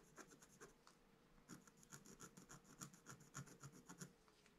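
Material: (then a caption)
Coated paper. A pointed wooden stylus held in the fingers scratches a flat sheet of black-coated scratch art paper over a gold layer, lying in a book on a table, while the other hand holds the sheet still. A quick, uneven run of short, dry scratching strokes comes through, with bright rasping edges over a soft low thud from the paper and book. The strokes stay quiet and close, stopping briefly before picking up again.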